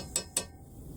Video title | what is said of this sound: restoring the steering wheel Part 33 | which appears to be metal, sounds like metal